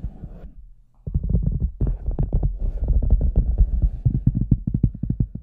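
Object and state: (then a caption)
Large hollow rubber boot tapped from outside. Fingertips and nails tap and scratch the lower sides of an oversized, hollow red rubber cartoon boot standing empty on a white table, with a microphone inside. Deep, muffled, boomy thumps come in quick, uneven bursts with a soft scratchy rustle underneath, after a quiet opening and a brief near-silent pause.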